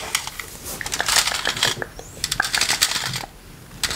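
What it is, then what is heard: Plastic fly swatter with wire mesh, tapped and scratched. A green plastic electric fly-swatter racket with a wire metal mesh face, held close to the microphone, is tapped and scratched across its mesh by rubber toy hands worn on the fingers. The result is a dense run of quick, bright, crackly clicks and scrapes with almost no low end and very short decay, fading briefly into a quieter hiss near the end.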